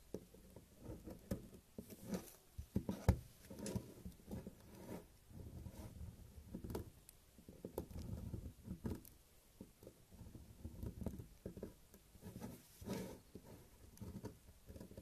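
A metal blade scrapes across the surface of a large, solid beige bar of soap, and the shavings fall away. The result is a quiet, low, muffled run of crumbly scraping and soft pattering bursts that continues unevenly throughout.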